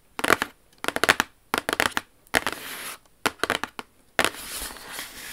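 Long acrylic nails on both hands tap and scratch rapidly across a large, hollow, glossy white Jimmy Choo cardboard shoe box lid with silver lettering, lying flat. Clusters of crisp, bright clicking taps come in quick bursts, with a dry, hissy scratching sound sustained after some bursts.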